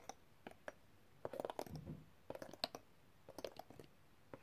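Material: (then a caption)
Coated metal. A set of thin, solid, colorful coated metal extractor tools in an open black zip pouch is tapped rapidly with a metal tool. The taps come in quick, dry clicky bursts with a midrange ring around 670 Hz and some bright edge, and they die away almost instantly.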